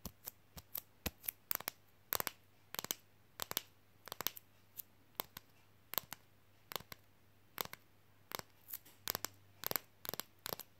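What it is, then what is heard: Flexible fridge magnet tapped with fingernails. A thin, flexible red Coca-Cola printed fridge magnet is held in one hand and tapped quickly with the fingernails of the other. The clicks are short, dry and bright, with no ring, some falling singly and some in quick clusters, over a steady low hum.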